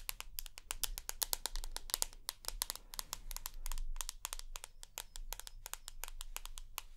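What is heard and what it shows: Long acrylic nails rapidly tap and scratch the glass screen and aluminium edges of a hand-sized rose gold iPhone held up near the face. Dozens of sharp, bright clicks follow in quick bursts, with brief soft scratching between them over a low, steady rumble.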